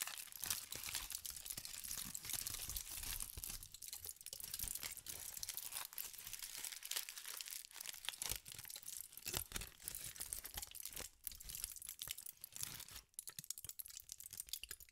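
A thin aluminum foil sheet is crumpled and pinched by fingertips with pink nails. It makes a dense, continuous crinkling and crackling that is mostly high and bright, with short sharp snaps and brief quieter dips throughout the 15 seconds.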